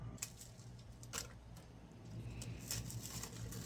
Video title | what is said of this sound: Easy Salisbury Steak! | I took that bread out of the oven and you can hear how crispy it is